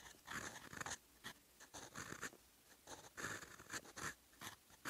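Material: Paper.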